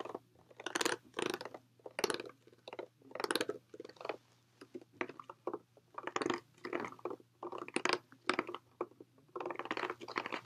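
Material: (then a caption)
Plastic. A clear, hollow plastic water bottle, partly filled with water, is held close and tapped and squeezed with fingertips and nails. It gives a quick run of bright crinkly crunches and clicks in short bursts separated by brief pauses, over a faint steady low hum.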